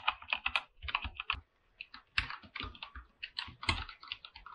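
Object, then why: Aluminum mechanical keyboard with PBT plastic keycaps. Fingertips type continuously on a full-size mechanical keyboard with an aluminum body and white and light-blue PBT plastic keycaps. The result is a rapid run of bright, short keystroke clicks with a brief pause in the middle, each click dying away almost at once over a faint low thud.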